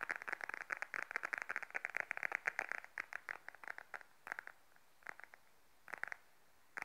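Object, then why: Patent faux leather wallet. Long nails tap and scratch the surface of a small beige glossy patent faux leather wallet held upright in both hands. A rapid run of dry, crisp clicks and scratchy ticks centered around 2 kHz, with bright edges, comes in dense bursts for the first few seconds. It then thins out into scattered taps separated by quiet gaps, each stopping instantly with no ring.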